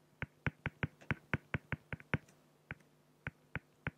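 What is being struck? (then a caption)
Felt-tip pen on acrylic sheet. A felt-tip pen makes short strokes on a flat, clear acrylic plexiglass sheet, producing 15 quick, dry tapping scratches with almost no ring. The strokes come in a fairly steady run for the first two seconds, then pause and continue more sparsely, over a faint low hum.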